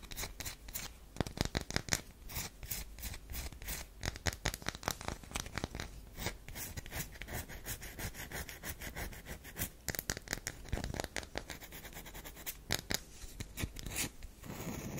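Long nails scratch the surface of a solid, hand-sized oval tan DURU bar soap, dusted with soap powder and held in the hand, while a knife rests nearby unused. Dense, crackling scratches and rasps fill the clip in quick bursts, with bright scraping texture over a soft low body and very little ring.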